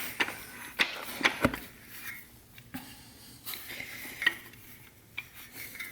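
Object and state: Transmission direct drum fully seated.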